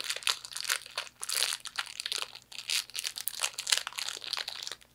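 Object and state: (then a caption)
Wrapped fortune cookie, crinkled plastic wrapper. A small hollow fortune cookie in a printed plastic wrapper is crinkled and scratched by long nails. Dense, bright plastic crinkles and crackles come in quick bursts, with short pauses between, and there is almost no low end.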